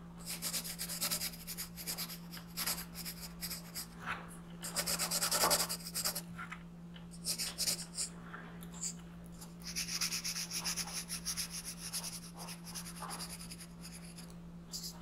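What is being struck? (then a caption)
Colored pencil on thin paper over a wooden desk. A green colored pencil is rubbed and scratched across a thin printed paper coloring sheet resting on a wooden desk. Quick, uneven strokes make bright, papery scratching that swells loudest around the middle. A steady low hum runs underneath throughout.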